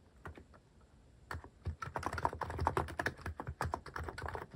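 Fingertips type fast on a cream mechanical keyboard fitted with sculpted plastic cat and paw keycaps. A few scattered taps give way to a dense run of quick, crisp clacks with short, dry decays and a soft low thump under each keystroke.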